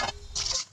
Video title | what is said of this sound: क्रिस्पी मूग दाल भजी- इस दिवाली की थाली मे बनाइए ये पकोडे-Tasty & Crispy moong dal Pakoda | You must be able to understand from the sound how crispy it has become